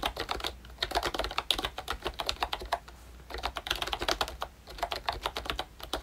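Fingertips type on a ROYCHE Disney Mickey Mouse pink plastic retro membrane keyboard with round keycaps and a hollow body. Bursts of quick, bright, clacky keystrokes come in uneven runs, with two short pauses near the 2.8 and 4.5 second marks. Each tap is short and dry with almost no ring.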